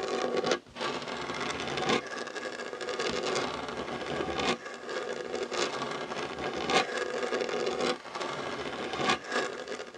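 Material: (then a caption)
Wood. Short nails and fingertips scratch across a solid, dark wooden tabletop beside a fabric heart coaster. The result is a steady, dry, raspy scratching with a bright hiss and a mid-range body, broken by a few brief pauses.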